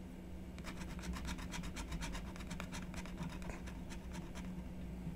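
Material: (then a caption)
Coated paper. A wooden stylus scratches and rubs the coating off a flat, black-coated scratch-art card on a wooden table while the other hand steadies the card. Quick, bright scratchy strokes come in a rapid series over a steady low hum.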